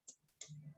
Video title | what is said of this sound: Frozen Foods - Frozen paneer cheese mini, samosa, Burger patty,etc | ये भी crispy है because of that rava coating